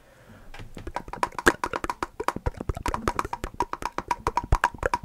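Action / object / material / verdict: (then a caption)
tap / small glass jar with metal lid / glass / none. A full small glass jar of chestnut spread with a metal lid is tapped on its lid and sides with fingertips and nails. After a quiet half second, about 30 quick, dry taps follow in an uneven rhythm, each dying away almost at once. Several taps carry a faint ringing tone near 1 kHz.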